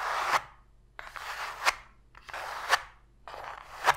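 Long pink fingernails scratch the floor of an empty, open, hollow white cardboard box tray, with sparse taps. Four rasping scratch strokes are heard, each centered in the midrange around 1 kHz and ending in a sharp, bright tap. Quiet gaps with very little low end separate the strokes.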